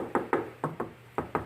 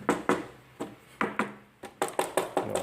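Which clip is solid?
The first.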